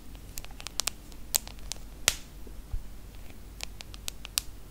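Long acrylic nails tap the glass screen of a small, solid iPhone smartphone held flat, producing about fourteen sharp, bright clicks at an uneven pace. Each tap is very short and dry, with a faint low rumble underneath throughout.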